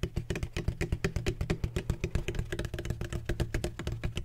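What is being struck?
Hollow textured plastic ring-shaped bottle.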